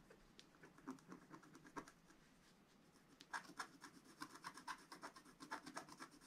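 A wooden stylus scrapes repeatedly across a coated black scratch art card resting on a table, filling in a region. Quiet, dry, rasping strokes with a bright papery edge come sparse and soft at first, then grow louder and denser in quick back-and-forth bursts toward the end.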